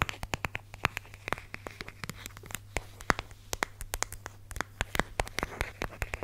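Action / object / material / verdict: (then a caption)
tap / plastic squeeze tube / plastic / none. Long red nails tap and scratch the surface of a small red and white plastic squeeze tube of hand lotion, hollow and partly full. A quick, irregular run of sharp, dry clicks with a hollow plastic tone around 1.3 kHz is heard, with light scratchy rasps between taps over a faint steady low hum.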